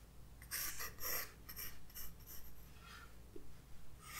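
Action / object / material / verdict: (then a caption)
scrape / graphite pencil on paper sketchbook page / paper / none. A graphite pencil sketches lines across a white paper page of a spiral-bound sketchbook resting on a wooden desk. Short, bright scratching strokes come in quick bursts over a quiet, steady low background.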